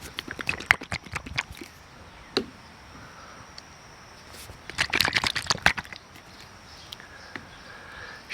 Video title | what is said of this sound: Dr. Beasley’s STANDS BEHIND THEIR PRODUCTS | it sounds exactly like the first one